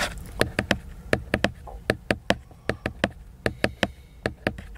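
Fingertips tap the glossy laminated paper cover of a large picture book, making eighteen short, dry, crisp taps in an uneven rhythm. Each tap is bright in the midrange and dies away almost instantly over a faint low background hum.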